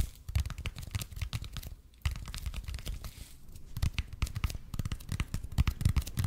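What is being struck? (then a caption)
Expanded polypropylene foam roller. Fingernails scratch the surface of a red and white speckled expanded polypropylene (EPP) foam roller held in both hands. The result is a dense run of dry, scratchy crackles and quick taps over a soft, low thumping body. Brief quiet gaps fall near the two- and three-and-a-half-second marks.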